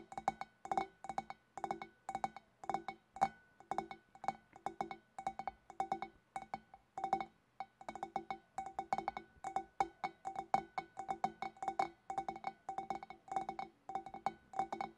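Long black nails on both hands tap rapidly on the upper sides of a large, hollow, empty clear glass fish bowl. Dozens of quick, light clinks come in a steady stream of bursts, each with a short, bright glassy ring centered around a clear pitch near 780 Hz.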